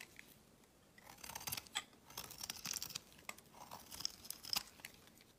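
A utility knife blade shaves along the edge of a solid, cream-white, hand-sized rectangular soap bar. Quiet, crisp scraping strokes come in quick bursts, bright and hissy with almost no low end. Each stroke cuts off sharply, leaving soft, dry crackles between them.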